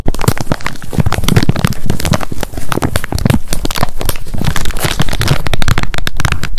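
Long nails tap fast on the hard plastic flip lid of a handheld wet wipes pack, making a dense, continuous run of quick, dry clicks. Each tap is short with almost no ring, and the sound is full and low-heavy with crisp bright edges.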